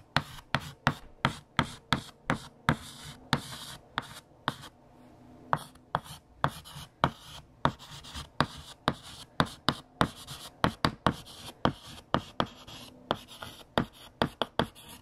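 A hand writes on a large, flat, solid black chalkboard with a light blue chalk stick, making a quick run of sharp taps and short scratching strokes. The strokes come in a steady, busy rhythm with a brief pause near the middle, each one a dry, bright click that stops almost at once.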